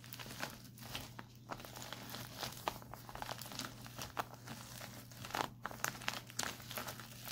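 Fingertips and short nails tap and scratch the crinkly surface of a white printed plastic instant cold pack lying flat. Dense, bright crinkling and crackling with quick ticking taps fill the clip over a steady low hum.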